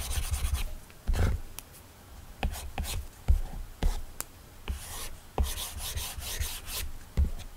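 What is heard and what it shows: A hard plastic stylus tip rubs in steady shading strokes across an iPad's glass screen fitted with a matte Paperlike plastic protector. The result is a soft, scratchy rasp with a low thump at the start of each stroke and a brighter hiss on the faster passes. The strokes come in irregular bursts separated by short pauses.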